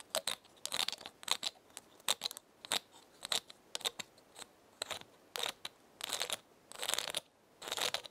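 Long painted nails scratch and tap the woody scales of one large, brown, dry pinecone held in the other hand, while a second pinecone sits untouched nearby. The result is a quiet series of dry, crisp, bright scratching and clicking bursts, separated by short pauses, with almost no low end.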